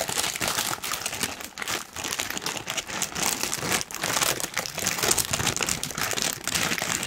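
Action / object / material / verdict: scrape / thin tissue paper sheet / paper / none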